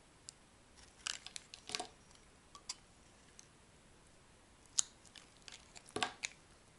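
A metal blade carves and scrapes a solid, bright green bar of dry, soft soap held in the hand. About a dozen short, crisp scraping and crunching strokes sound, mostly high and bright with almost no low end, over a quiet background.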